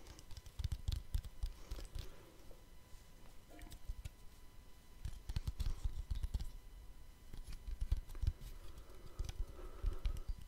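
A small, round, hollow and shallow black plastic lens cap is held in one hand close to the microphone and tapped and scratched with the fingertips of the other. Quick, dry, low taps come in bursts, mixed with light scratching and clicking. The sound is muffled and thumpy with a faint steady hum underneath.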